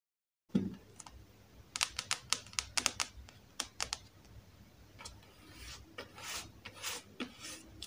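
Long acrylic nails tap and scratch the glossy card cover of a thick, solid Star Wars Alphabet Squadron paperback held upright, first the front cover and then the back. Sharp, bright clicks with no ring come first, followed by softer, airy scratching swishes.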